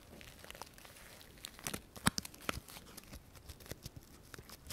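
A dry sola wood flower is held in both hands while fingernails scratch its thin petals. The result is a quiet, irregular run of crisp, papery crackles and crinkles, with a few sharper, brighter snaps standing out in the middle.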